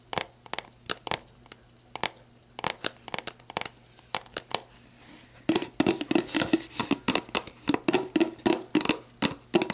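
Long black nails tap and scratch the label of an empty, hollow, clear plastic sports drink bottle, then move to its ridged bottom. A steady run of sharp, bright clicks and scratches starts sparse and quiet, with a faint hum beneath. After about five seconds the tapping becomes denser and louder, with a hollow plastic resonance around 340 Hz.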